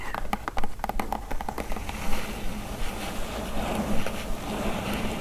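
Long acrylic nails tap and scratch the top of a large, flat, brown corrugated cardboard Cdiscount shipping box lying on a fluffy blanket. Sharp, dry taps come in an irregular cluster early on, then give way to softer scratching over a steady low rumble.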